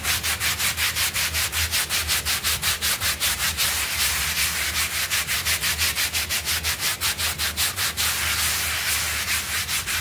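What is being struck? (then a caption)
Wet synthetic pile rug scrubbed with a bristle brush. A bristle hand brush scrubs back and forth across a small, wet, foamy blue synthetic pile rug on a floor while the other hand holds the rug in place. A rapid, steady rhythm of bright, hissing scrub strokes, nearly three per second, runs over a faint low hum throughout.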